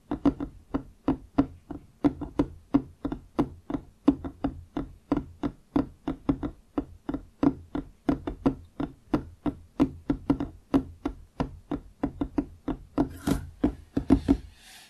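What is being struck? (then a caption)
Wooden desktop. Fingertips of both hands tap quickly on a large, solid wooden desktop close to the microphone, about fifty dry, short knocks in an uneven rhythm. Each tap has a warm, hollow low-mid tone with almost no ring, and a brief bright hiss rises under the taps near the end.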